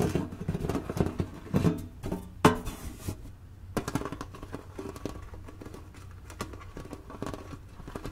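Long nails tap the top edge and printed lid of a flat, hollow blue cardboard Mancala game box held tilted. The result is a quick run of dull, hollow, low-heavy taps that die away almost instantly. One sharp, louder tap lands early, and the tapping then settles into a softer, steady patter.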